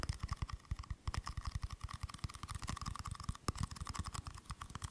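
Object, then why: Small aluminium screw-top tin. A small, round, hollow silver aluminium screw-top tin is held in both hands while fingers and nails tap and scratch its lid and rim. Quick, soft, dull taps follow one another in a rapid, uneven run, each with a low thump and a faint metallic tone in the middle range, with thin scratchy bright noise between them. Every tap dies away almost at once, with no lasting ring.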